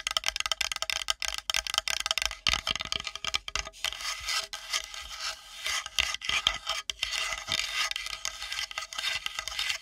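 Long nails rapidly scratch and tap a flat, solid, light-colored wooden plate held edge-on above the microphone. The sound is a dense run of bright, raspy scrapes and crisp, dry taps with almost no low end and very short decay.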